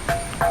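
A lithophonic "bell rock" boulder at Manipara is struck twice with a stone to test it, giving two short metallic, bell-like rings pitched around 680 Hz that fade quickly. The ringing is a little low this time compared with an earlier perfect bell tone. Being lithophonic, the rock rings wherever it is struck, unlike the other rocks nearby.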